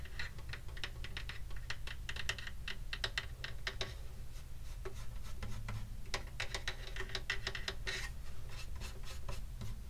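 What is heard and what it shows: Fingertips tap the wooden top of a hollow wooden acoustic guitar held in the lap, near the soundhole and at the upper bout. A quick, uneven run of short, crisp taps with bright edges sits over a steady low, woody body resonance around 105 Hz. Each tap dies away almost at once.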